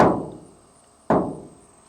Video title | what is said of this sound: Chevy Express “DIY” Camper Van Build Episode 3 Sound Deadening | whenever you tap on the side you can hear a lot of noise and that's just the vibrations resonating throughout that large panel